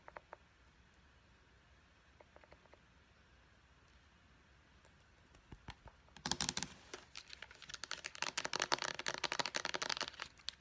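Long nails tap the purple pump head and the body of a small white plastic face wash pump bottle. A few faint, sparse clicks come first, then from about six seconds in the tapping turns fast and dense. The taps are sharp, bright, plasticky clicks with almost no ring.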